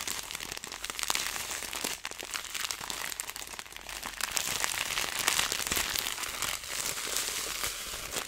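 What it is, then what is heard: Plastic zip bag of dried herbs. A clear plastic zipper bag with a green seal strip, filled with dried herbs or seeds, is squeezed, crinkled and rubbed between fingers. It makes a dense, continuous stream of bright, irregular crinkles and crackles with almost no low end. The sound grows slightly louder in the second half.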